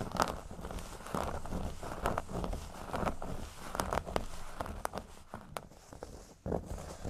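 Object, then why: Thin cork board on a table. Fingernails scratch from the top edge down across a flat, thin, solid cork board resting on a table. The sound is a soft, dry rasping with a low rumble underneath, broken by short, sharp ticks that die away almost instantly.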